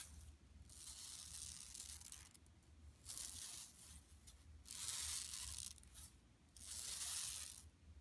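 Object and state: Woven plastic mesh shopping bag.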